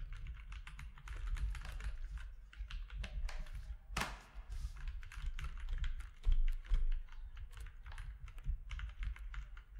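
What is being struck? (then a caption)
Mechanical keyboard with plastic keycaps. Fingertips type on a compact mechanical keyboard with plastic keycaps, using one hand at the start. A quick, uneven stream of bright, clacky keystrokes plays over a steady low hum, with a sharper clack near the 4-second mark and a louder burst of keys just after 6 seconds.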